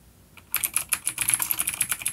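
Fingertips of both hands type on a full-size dark plastic vintage mechanical keyboard with clicky blue switches and grey keycaps, resting on a wooden desk. After a near-silent half second, a quick run of sharp, bright clicks follows, each with a high metallic tick and almost no low end.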